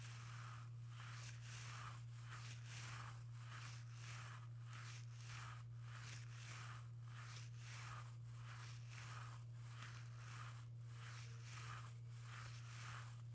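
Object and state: Nothing is struck.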